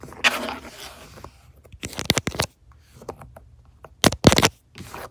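Long nails tap and scratch across the stitched leather surface and along the seam of a padded, soft-backed truck center console armrest. Short, dry scratchy bursts with a bright, rasping texture alternate with soft muffled taps and quiet pauses.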